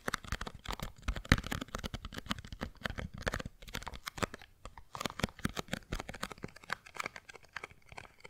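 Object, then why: Small cardboard box. A small printed white and green cardboard box, hollow and apparently empty, is held in both hands and tapped and scratched with long blue-painted nails. Rapid, dry, close-up taps and scratching crinkles run continuously, each tap short with almost no ring and a hollow low thump under the papery crackle.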